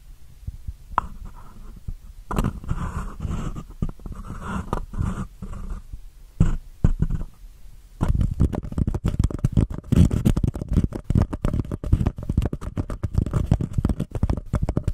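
Long painted nails scratch the textured surface of a small, empty, white embossed paper cup turned over a microphone. The scratching comes out as low, muffled, rumbling rasps: sparse and intermittent for the first half, then dense and continuous through the end.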